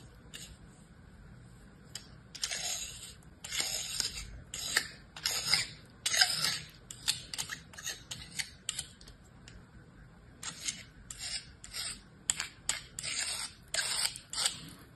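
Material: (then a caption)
Sand. A star-shaped block of beige kinetic sand in an orange plastic mold, held in one hand, has its underside sliced and scraped flat with a metal utility-knife blade. The result is a series of short, bright, crisp scraping and crunching strokes separated by brief pauses, with almost no low end.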